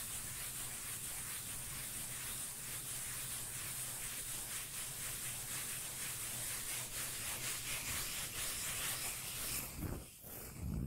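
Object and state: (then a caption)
Cork lid being scratched. A cork lid is scratched and rubbed, making a steady, bright rubbing, sanding-like sound over a low bass rumble, with no distinct taps. The texture briefly drops out near the end, then resumes.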